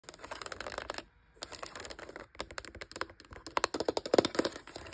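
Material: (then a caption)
Plastic. Long light-blue acrylic nails rapidly tap and scratch across the rubber keys and hard black plastic casing of a hollow Brother P-touch handheld label maker resting on a fabric surface. The result is a dense run of short, dry, clicky taps with scratchy texture and almost no low end, broken by a brief pause near the one-second mark.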